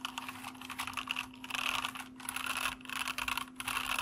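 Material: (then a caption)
Plastic. Fingertips type continuously across a white plastic mechanical keyboard with hollow keycaps, hands shifting position over the board, with a foam wrist rest in front. A dense stream of bright, crisp clacks rises and falls in short bursts over a faint steady low hum.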